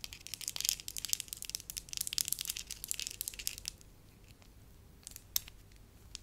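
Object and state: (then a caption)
Soft wax lump. A solid, pliable beige wax lump is squeezed, rubbed and twisted into a rope with fingers and long nails. The result is dense, bright crackling and crinkling for about the first three and a half seconds, followed by quieter handling with a few isolated sharp clicks.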